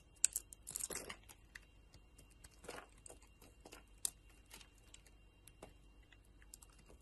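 A solid purple and yellow soap bar held in a hand with long lilac nails is cut and shaved with a metal utility knife blade. Quiet, dry scraping and crisp crinkly ticks come mostly from the high, bright range, with a denser shaving burst near the start and scattered sharp clicks after it.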